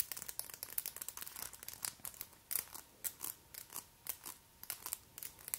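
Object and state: Acrylic nail extensions tapped together.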